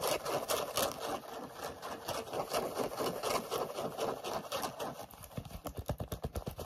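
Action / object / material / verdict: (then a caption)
scrape / knit fabric sneaker / knit fabric / none. Short nails scratch quickly across the knit upper and laces of a hollow pink knit-mesh sneaker with a ribbed sole edge. The result is a dense, bright, rustling scratch in fast, uneven bursts. Toward the end it breaks into sharper, more distinct strokes with a slight low thump.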